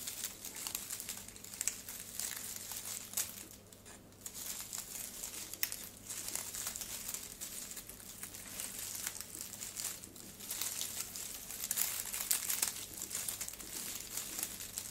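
Fingertips squeeze and handle a large bundle of dried globe amaranth stems, leaves and flower heads. The brittle plant material gives off a continuous, bright, dry crinkling and rustling that swells and eases over the clip, with a faint steady low hum underneath.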